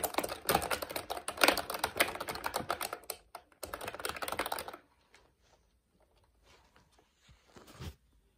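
A plastic retro mechanical keyboard with round plastic keycaps is typed on with the fingertips of both hands, giving dense, bright clicky keystrokes for about five seconds. After a brief pause near the three-second mark, the typing stops and only faint, scattered taps and handling sounds remain, with a short louder burst near the end.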